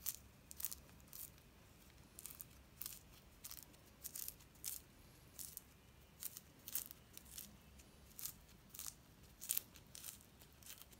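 A small mandarin is peeled by hand, the fingers pulling the thin peel off in pieces until the fruit is mostly bare and the peel comes away in one piece. Quiet, bright crackling and tearing snaps come in short, irregular bursts over a soft steady background hiss.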